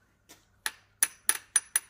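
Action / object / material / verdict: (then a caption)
tap / iron coin / iron / fake. A Qing-dynasty style coin from a family heirloom, presented as a rare 20-yuan piece, is tapped five times, giving short, dull clicks that die away almost at once. The coin is iron rather than silver, and it is fake.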